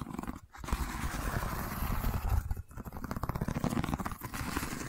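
Long nails scratch along the woven texture of a long cylindrical wicker tube, tilted and held horizontally. The result is a dense, continuous, rough scraping with a heavy low rumble and little high sound, briefly dropping out twice before resuming.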